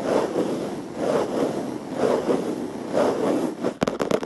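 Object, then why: Plastic surface. A plastic surface is rubbed and scratched in slow, repeating swells of soft, midrange friction noise, roughly one per second. The clip ends with a quick run of sharp, dry taps on the plastic.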